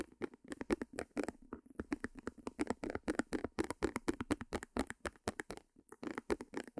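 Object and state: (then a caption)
Small stretched canvas tapped with nails. Long nails tap rapidly on a small white stretched canvas held upright behind the mic. About forty quick, dry taps with a soft papery thump fall in an uneven rhythm of roughly four per second, with brief pauses around 1.5 and 5.7 seconds. Each tap dies out almost instantly, with no ring.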